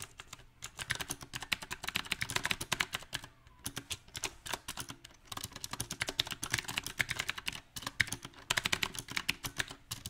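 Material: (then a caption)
Plastic. A compact backlit mechanical keyboard with round plastic typewriter-style keycaps is typed on quickly with the fingertips. Dense, bright key clicks come in uneven bursts with short pauses between, each tap dying away almost at once.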